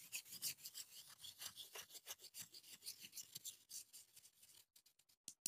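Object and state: Chopsticks scraping a metal mesh grille.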